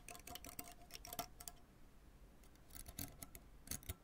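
A white fork held in the fingers scrapes and plucks the taut synthetic strings of a full-size tennis racket with a graphite frame lying flat, in a scratch-and-strum motion across the open string bed. Quick bursts of dry, bright clicks and scratches carry a faint ringing tone near 700 Hz. They come in two flurries with a quieter scratchy pause between them.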